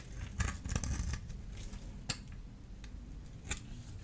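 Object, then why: Bar of soap scraped with a small metal blade. A small metal blade scores and shaves the surface of a solid blue-and-white striped dry soap bar held in the hand. A quick cluster of crisp, bright scraping clicks comes early, then a couple of isolated sharp cuts follow over a low, steady background rumble. The cuts are short and dry, with almost no ring.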